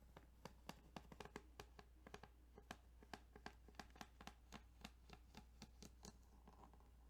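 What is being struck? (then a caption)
Plastic game cartridge. Fingernails tap and scratch over the ridges of a plastic Tetris Game Boy cartridge, giving a quick, steady run of crisp, dry clicks with bright edges. Each click dies away almost at once over a faint, constant low hum.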